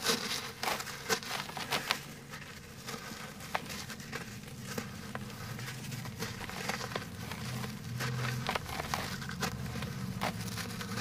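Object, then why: Lump of cement. A large, solid, fist-sized lump of dry grey cement is held over a dark basin and crumbled and rubbed apart with bare fingertips, letting powdery grains fall into the basin. Sharp, dry crackles and snaps come through at first, then settle into a steady gritty rustle and patter of falling grains over a faint low rumble.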